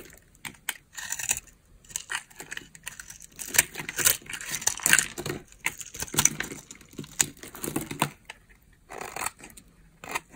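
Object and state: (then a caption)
Dry bar soap being scraped. A metal cutter blade scrapes across the top of a palm-sized, solid green bar of dry soap held in the hand, its surface pre-scored into a grid, shaving off small cubes that fall among crumbs on the table. Dense, dry, bright scraping and crumbly crackles come in quick, uneven bursts with short pauses, each sound dying away almost instantly.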